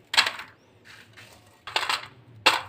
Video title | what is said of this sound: Winter special meethi tangri recipe | बहुत ही खस्ता और मजेदार बनी है